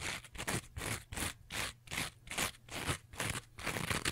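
Long nails scratch and rub the rough green scouring side of a rectangular two-layer kitchen sponge with a yellow foam layer. Quick, unevenly timed strokes produce bright, raspy scraping bursts with short gaps between them.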